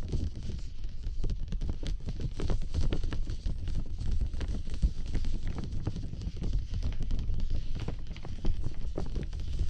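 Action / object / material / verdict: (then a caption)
tap / thin plastic umbrella canopy / plastic / none. Fingertips from several layered hands tap, pat and rub the thin, hollow canopy of a large clear plastic dome umbrella held over the mic. The result is a dense, continuous patter of soft, low, muffled thuds with a faint crinkly rustle.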